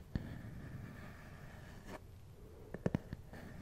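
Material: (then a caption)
Plastic. Fingernails and fingertips tap and scratch the top of a small, hard, hollow black plastic glasses case held close to the microphone. A low, quiet scratching runs throughout, broken by a few short, dry taps: one near the start and a quick cluster near the end. Each tap dies away almost instantly.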